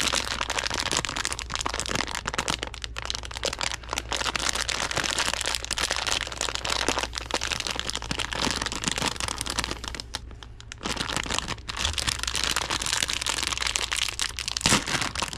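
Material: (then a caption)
Plastic film. A medium Haribo Happy Cherries bag of thin printed plastic film, full of gummy candies, is crinkled in hands wearing nitrile gloves and then torn open at the top. A dense, bright crackling crinkle runs almost continuously, easing briefly near the 10-second mark before picking up again. A low, steady hum sits underneath throughout.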